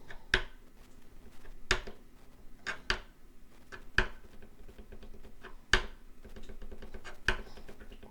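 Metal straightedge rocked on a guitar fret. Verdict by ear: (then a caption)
High. A fret rocker is rocked across the metal frets of a Yamaha FG445 acoustic guitar during fret levelling, producing a series of short, sharp, bright clicks around 1.5 kHz over a low background hum. The tip tapping marks a high fret that needs more filing.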